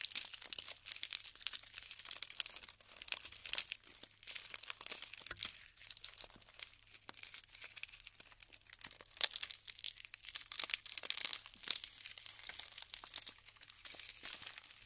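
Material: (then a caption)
Polystyrene foam. Small clumps of colorful glued polystyrene foam beads, light and solid, are held in both hands above a pile of the same beads on parchment paper and crumbled and rubbed apart between fingertips with long pink nails. Dense, bright crackling, crinkling and snapping runs steadily throughout, with many short sharp pops and almost no low end.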